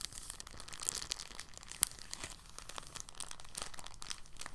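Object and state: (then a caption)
Plastic bag being crinkled. A thin, clear, empty polyethylene bag is folded and then crinkled in both hands with the fingertips. It makes a soft, continuous rustle of dense, bright, high crackles, with a few sharper snaps standing out near the 1- and 2-second marks. The sound stays quiet and dry, each crackle stopping almost instantly with no ring.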